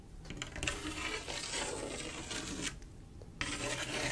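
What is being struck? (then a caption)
Glass mosaic tile panel with grout. Long acrylic nails scratch and rub across a large, solid, flat glass mosaic tile picture made of silver mirror-like tiles set in grout. The result is a steady, bright, gritty rasping that drops to a quieter stretch near the end before the scratching starts again.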